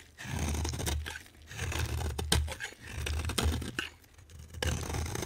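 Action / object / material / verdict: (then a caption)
scrape / bar of soap cut with a knife blade / soap / none. A solid green, hand-sized bar of soap is scraped and cut with a utility knife blade. Gritty, dry scraping strokes rise and fall in slow waves over a low, muffled body, with sharp crisp snaps where the blade breaks through and bright scratchy edges.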